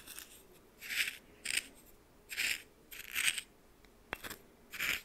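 A red plastic spoon stirs and scrapes white coarse salt crystals in a small glass bowl held in the hand. Bright, gritty rasping bursts repeat, with a sharp click near the end.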